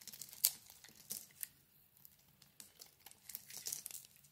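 A solid lilac bar of soap is held in the hand and shaved with a metal blade, scraping across its face. A series of short, crisp, bright scraping and crinkling strokes comes through at a quiet level, with one sharper stroke near the start and brief pauses between the rest.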